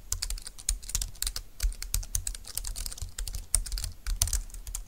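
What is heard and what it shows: Fast two-handed typing with fingertips and nails on a compact, dark green, low-profile plastic keyboard with flat keys and a hollow plastic body. It makes a rapid, uneven stream of bright, crisp clicks and clacks over dull, hollow low thuds, each tap dying away almost at once.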